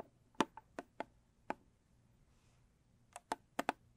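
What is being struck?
Small cardboard box tapped with fingernails.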